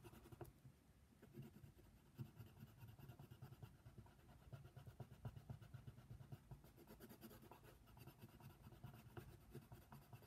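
A hand colors a giraffe outline printed on a thin sheet of white paper lying flat on a table, using a brown wooden colored pencil. The pencil lead scratches across the paper in quiet, continuous, rapid strokes, with a soft, low-weighted rasp throughout.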